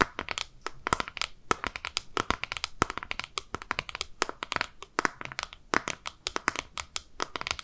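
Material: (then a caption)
Plastic. A small, hollow, rectangular, translucent pink plastic case is held in both hands and tapped and scratched with long nails. Dozens of rapid, dry clicks and crackly scrapes follow one another with no ring, their sharp, bright tone centred in the upper midrange.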